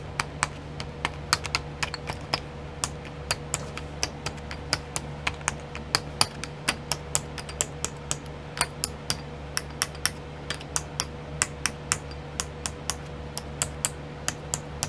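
Long nails tap rapidly on the lids of twelve small clear plastic pots filled with sequins, sitting in a pink tray. The result is a steady stream of short, bright, crisp clicks that die away almost instantly, over a faint constant low hum and a soft mid-pitched tone.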